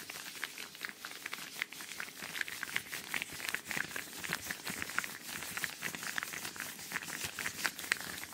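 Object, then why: Thin rubber household gloves. A pair of thin yellow latex/rubber household gloves, worn on both hands and held in front of a microphone, has its fingers rubbed, squeezed and flexed against each other. This makes a steady stream of close, squeaky, crinkly rubber sounds with quick bright squeaks peaking around 1.9 kHz and almost no low end. The sound stays continuous and fairly quiet throughout.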